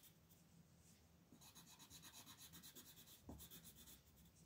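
A wooden colored pencil, held by fingers with long pink nails, colors a thin paper coloring page with quick repeated short strokes. The result is a quiet, bright scratchy rubbing that starts soft and becomes a steady back-and-forth rasp after the first second. A slightly louder low tap lands near the end.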